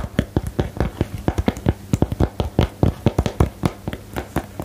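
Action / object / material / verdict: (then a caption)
tap / small cardboard card-game box / cardboard / none. Long nails and fingertips tap a small, hollow, rectangular cardboard box for the 'Geheimakte' card game close to the mic. The result is a quick, uneven run of short, dull, low taps with almost no ring, some with a light clicky edge, over a faint steady low hum.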